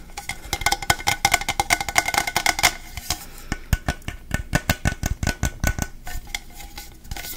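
Fingertips rapidly tap and handle an apparently empty, medium, hollow stainless steel travel mug with a black plastic handle, held in one hand near the mic. The first few seconds are a dense run of quick taps with a bright metallic tone near 1.5 kHz. Sparser, drier taps and handling noises follow, each dying away almost instantly.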